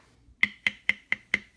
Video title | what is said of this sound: TM Designs Chain Guide Install and review YZ125 ENDURO | this is nothing like the rubber in fact if I tap on it you can hear it's kind of similar to the rest of the body